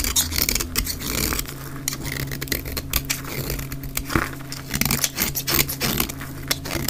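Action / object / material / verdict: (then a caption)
scrape / soap bar shaved with a blade / soap / none. A utility blade repeatedly shaves an olive-green dry soap bar cut down to a wedge, played at double speed. It makes a rapid run of crisp, bright scraping cuts and crumbling, with crumbs falling onto a pile of shavings over a faint steady low hum.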